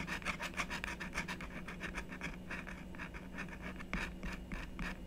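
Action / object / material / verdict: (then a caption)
scrape / black-coated scratch-art card scraped with a wooden stylus / coated card / none. A thin wooden stylus scratches the coating off a flat, black-coated scratch-art card, about book size, held flat on a wooden table with one hand. Quick, uneven short strokes, about three per second, make a dry, bright rasp over a low steady hum.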